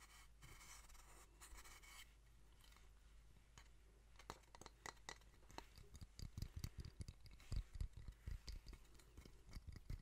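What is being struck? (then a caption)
Small wooden box. A small, hollow, reddish-brown wooden box held in both hands is scratched and tapped with long painted fingernails. The first few seconds are soft, bright scratching, followed by a run of quick, dry, hollow taps with a low body and almost no ring.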